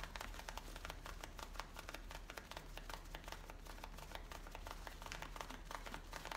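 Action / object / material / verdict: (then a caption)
scrape / denim jeans / denim / none. Long painted nails and fingertips scratch and rub the waistband and the top of the back pocket of worn, light-blue distressed denim jeans. A steady stream of quick, dry scratching strokes crackles bright over a constant low hum, with no pause or change in pace.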